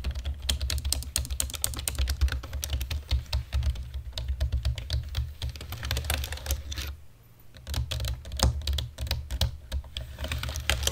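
Fingertips and nails of both hands type rapidly on a black plastic computer keyboard. The result is a dense stream of sharp, bright clicks and clacks over a steady low hum, with a brief pause about two-thirds of the way through before the typing resumes.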